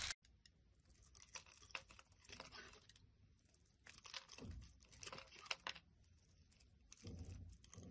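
A small, solid pink translucent glycerin-type soap bar is held in the hand over a wooden surface and shaved with a box-cutter blade. Quiet, bright scraping and crisp tearing crackles come in clustered bursts, with a few soft low thumps.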